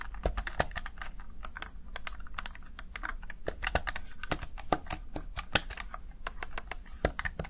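Fingertips press the keys of a Razer Tartarus Chroma plastic gaming keypad in quick typing. A rapid, uneven stream of short, sharp plastic clicks with bright attacks and a soft low thump under each press, each tap dying away almost instantly.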